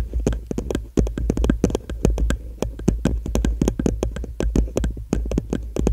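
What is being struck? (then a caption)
Plastic cup. An empty, hollow blue plastic party cup is held upside down over the microphone and tapped with long nails. The result is a fast, steady run of short, sharp clicks over a deep, hollow low-end thump, with almost no ring after each tap.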